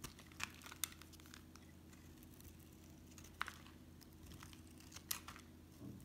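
A metal utility knife blade shaves thin curls from a solid rectangular brown bar of La'Diva soap held in hand. Short, sharp, bright scraping and crinkling cuts stand out over a quiet, steady low hum. Each cut stops almost instantly with no ring.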